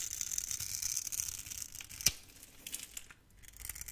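A utility knife blade scrapes crunchy cubes off a solid, hand-sized, grid-scored orange soap bar. The sound is a bright, crisp, continuous crunching and scratching with one sharp click about halfway through, then a brief quiet lull before the scraping resumes.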